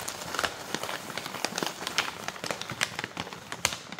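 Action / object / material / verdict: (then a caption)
scrape / plastic granola pouch / plastic / none. Long nails scratch and crinkle the front and back of a full plastic granola pouch. The result is a dense stream of bright, crackly plastic crinkles with sharp, quickly fading snaps and very little low end.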